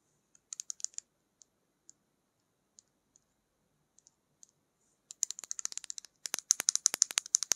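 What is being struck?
Plastic lip gloss tube.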